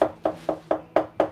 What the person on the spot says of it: see how that's sort of more hollowy feeling